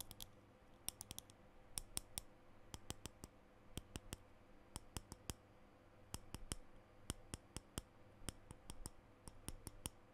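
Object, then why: Plastic lipstick tube. Fingernails tap and click along a small plastic lipstick tube with a green plastic base and the bullet exposed, held in both hands. The result is a quiet, steady string of sharp, bright, dry clicks that stop almost instantly, over a faint low background hum.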